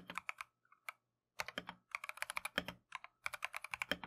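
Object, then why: Plastic-case mechanical keyboard. Gloved fingertips type continuously on a Keychron V1 full-size, hollow plastic-case mechanical keyboard with Tangerine switches and green and white Matcha XDA keycaps. Quick bursts of crisp, bright, clacky keystrokes with very short decay and little low end are separated by a brief pause near the one-second mark.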